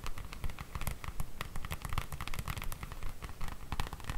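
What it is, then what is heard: Cardboard book box set. Long nails tap and scratch fast on the glossy printed front of a large cardboard slipcase full of books, standing upright on a table. Many short, dry clicks and scrapes come in a quick, fairly steady run, with a low thumpy body and brief bright ticks that die away at once.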